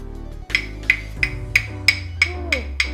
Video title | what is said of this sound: How to BBQ Japanese-style with a Shichirin! | has almost a metallic almost sounds like glass it's super hard